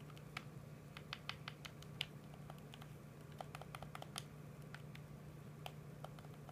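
A PS4 controller of hollow hard plastic, held in both hands, is tapped and clicked rapidly with the thumbs on its buttons and touchpad. The result is a quiet, irregular patter of short, sharp, bright plastic clicks that die away almost instantly, over a steady low hum.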